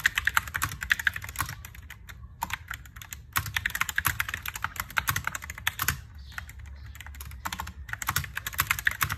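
Fingertips type on a compact plastic mechanical keyboard with white and pink plastic keycaps. Fast runs of crisp, clacky keystrokes carry bright click transients and a low thock, with each press dying away almost instantly. The typing breaks off in brief pauses before resuming.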